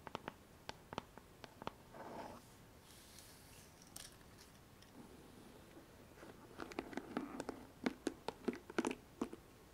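Long nails scratch and pluck the plastic pins of a pink paddle hairbrush held bristles up on its rubber cushion. Sharp, dry ticks and clicks come scattered at first, with a brief soft scratchy rub, then a quieter stretch before a denser run of bright plucks near the end.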